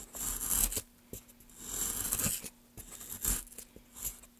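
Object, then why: Pale wooden block. Gloved hands make repeated short gouge cuts along the grooves of a solid pale wooden block. Each cut is a bright, hissy scraping rasp that swells and fades, separated by quiet pauses and occasional soft low knocks.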